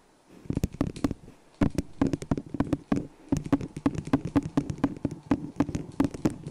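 A small, hollow, empty white disposable plastic cup turned upside down over the microphone is tapped with long acrylic nails and fingertips. The result is a quick, irregular run of dry clicking taps, each with a hollow, boxy mid tone and a bright nail click that die away almost at once, broken by a couple of short pauses.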